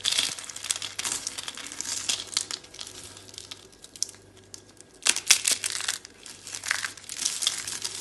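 Fingers with long dark red nails pinch and crumble solid, brittle orange dry soap rosette curls into flakes. Bright, dry crinkling and crunching crackles come in bursts, with a quieter lull before sharper, louder snaps.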